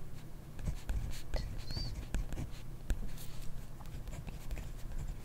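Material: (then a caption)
Paper. A ballpoint pen writes continuously on a grid paper notebook page, its tip scratching across the paper. The quiet, steady scratching is broken by short, sharp strokes and taps, with most of the energy in a low rumble beneath it.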